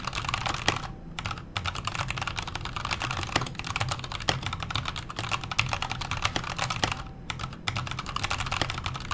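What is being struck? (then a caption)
Mechanical keyboard with metal case and plastic keycaps. A backlit KONO Kira mechanical keyboard with a metal case, plastic keycaps and Hako Clear switches is typed on with the fingertips of both hands. It produces steady, rapid clacky keystrokes with bright clicks over a low, full-bodied thud, with two brief pauses in the flow.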